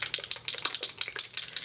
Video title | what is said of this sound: March 2012 Haul - A Bit Large! | you can hear that it's a very runny consistency